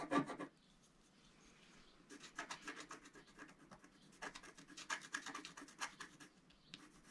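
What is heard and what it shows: A wooden stylus scratches vigorously back and forth across a flat black coated scratch-art card, making dry, bright rasping strokes. A sharp opening scrape is followed by a quiet pause, then a long run of uneven back-and-forth scratching bursts that fade at the end.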